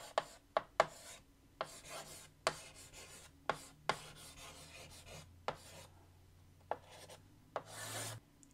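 White chalk held in the fingertips writes on a large, flat black chalkboard in a wooden frame. Sharp chalk taps are heard between dry, raspy scratching strokes, ending with a longer, brighter scrape.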